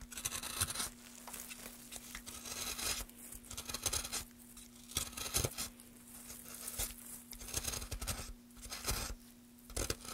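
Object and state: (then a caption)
Wooden plank being carved. A small knife cuts and scrapes the carved end of an upright, solid, light wooden plank held in gloved hands. Bright, dry shaving and scraping strokes come in bursts with short quiet gaps, over a steady low hum.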